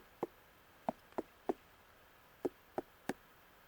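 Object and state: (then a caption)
Ripe pumpkin, hollow thump. A pumpkin in the field is thumped seven times in an uneven rhythm, each thump a short, dull, hollow knock with almost no ring. The hollow sound shows the pumpkin is ripe and ready to harvest, following a fingernail test that showed the skin is hard enough.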